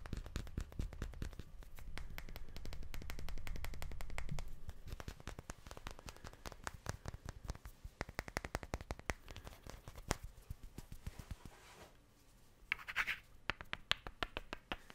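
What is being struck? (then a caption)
Two wooden cubes. Two solid wooden cubes are scraped against each other in fast scratching, producing a dense stream of short, dry clicks over a heavy low rumble for the first four seconds or so. The rubbing then thins into sparser, irregular ticks with a brief brighter rasp near the end.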